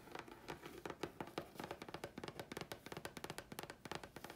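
Long fingernails scratch and tap the face and edge of a thin, flat grey chipboard sheet. About 26 quick, dry taps land in an irregular rhythm, each one dying almost instantly with a slight tone near 340 Hz, and soft scratching fills the gaps between them.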